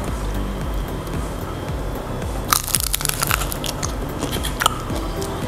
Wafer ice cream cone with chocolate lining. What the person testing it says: masih layak sekali masih kriuk karena ini ada lapisan coklatnya